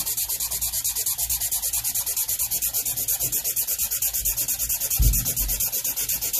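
A black Sharpie felt-tip marker held in fingertips scribbles dense back-and-forth strokes across a large white paper sheet lying flat on a board. The result is a steady, rapid scratchy rubbing with a bright hiss, pulsing evenly with each stroke. A brief, slightly louder low thump sounds around the five-second mark.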